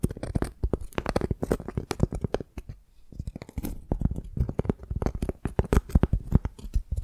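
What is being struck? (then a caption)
Piece of tree bark. Long dark nails scratch and tap the rough, cracked outer side of a flat piece of tree bark held in both hands. The result is a dense run of dry, crackly scrapes and quick taps with a low, thumpy body and no ringing, pausing briefly near the middle before continuing.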